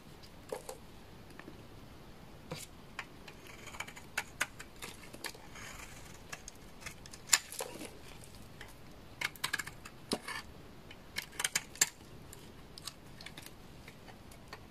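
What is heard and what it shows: A utility knife blade scrapes thin shavings off a hand-held bar of dry, solid orange laundry soap. Short, bright, crisp scrapes and cracks come in irregular bursts over a quiet background, each dying away almost instantly.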